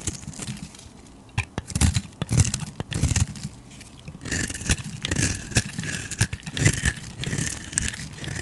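A flat metal blade scrapes and shaves along the face of a hand-sized, solid purple and pink bar of soap held in the hand, raising powdery shavings. Dry, crackly scraping strokes come in bursts with sharp ticks and a bright, hissy edge over a soft low rumble, growing denser and more continuous in the second half.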